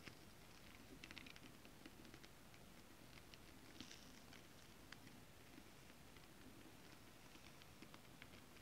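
Long acrylic nails tap and then scratch across a flat holographic mermaid-scale-print fabric. Faint, bright little clicks and scratchy ticks sit over a steady, quiet low hum.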